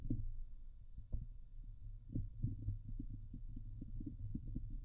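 Long glitter nails scratch the hollow domed wire-mesh metal grille of a Blue Yeti microphone. The contact comes through as a dense, low, muffled rumble with repeated soft thumps and scraping bursts, almost all of its energy sitting in the deep low end.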